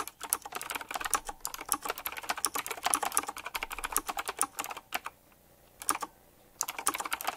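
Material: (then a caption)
Plastic. Fingertips type quickly on a full-size typewriter-style mechanical keyboard with round black plastic keycaps, chrome-look rims and a metallic frame. A dense run of sharp, bright clicky keystrokes fills the clip, broken by a short pause around five seconds and a brief burst before typing resumes near the end.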